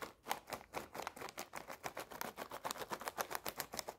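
Long painted nails rapidly tap and scratch a full, red foil-lined plastic snack bag. About two dozen quick, crisp taps with bright crinkling rustle come at a fast, uneven pace. Each hit dies almost instantly.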